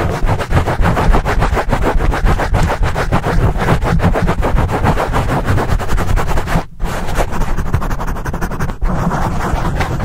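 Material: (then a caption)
Foam. Fingertips rapidly scratch a black foam microphone windscreen, producing a dense, continuous run of rough rustling strokes heavy in low rumble. The scratching is nearly constant, with two brief near-silent breaks around six-and-a-half and nine seconds.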